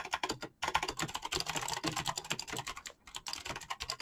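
Fast fingertip typing on a black mechanical keyboard with clicky switches and PBT plastic keycaps produces a rapid stream of short, bright clicks and clacks. The typing stops for two brief pauses, near half a second and again near three seconds.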